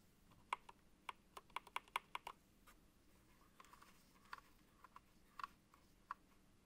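Apex Pro TKL (2023) wired gaming keyboard, a backlit plastic mechanical keyboard with plastic keycaps, with a gloved fingertip pressing keys near Enter and the control button. Sharp, bright click taps come in an irregular run, dense over the first two and a half seconds, then sparser and softer, each dying away almost instantly over a faint low hum.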